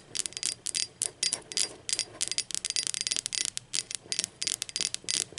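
Long acrylic nails tap the body and handle of an empty, hollow, blue speckled glazed ceramic mug rolled on its side, producing about 25 quick, bright clicks in an uneven rhythm. Each tap has a high, glassy tone that dies away almost instantly, with no low-end thud.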